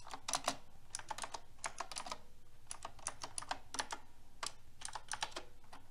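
Fingertips with long red nails type on a silver metal-frame mechanical keyboard with round pink plastic keycaps. The result is a quick, irregular run of bright, short clicks with a crisp attack and almost no ring. A faint low hum sits steadily underneath.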